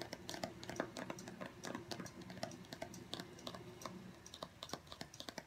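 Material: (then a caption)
Cardboard. Fingertips and short nails tap quickly across the top of a small, long, narrow, hollow white cardboard box (Apple Pencil packaging) resting on a wooden table. The result is a fast, uneven patter of light, dry clicks with a hollow midrange tone and a bright tick on each hit, each dying away almost at once.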